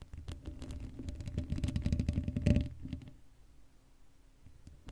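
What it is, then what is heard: Metal mesh microphone grille being scratched. Long acrylic nails of both hands scratch the black woven metal mesh of a Blue Yeti microphone's hollow dome grille, left without a cover. A dense run of quick, rough scratches thumps deep and boomy with a low hum, building to a peak about halfway before dropping off. Faint scattered scratches follow in the quiet tail.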